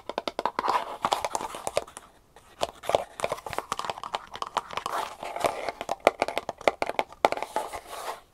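Long painted nails tap and scratch the sides and lid of a small, closed, hollow kraft cardboard jewelry box with a label, held in both hands. Dozens of quick, dry, papery taps mix with scratchy rustling, with a short pause just after two seconds. Each tap is hollow and mid-pitched and dies out almost at once.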